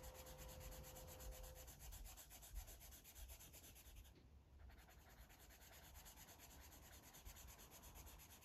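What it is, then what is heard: Marker scribbling on a paper coloring book. A blue felt-tip marker scribbles and rubs across a thick, solid stack of white paper pages lying flat in a coloring book, coloring in a map while fingertips hold the page edge. A steady, soft scratchy rubbing repeats in quick, loosely regular strokes, with low rumble underneath and faint bright hiss on top.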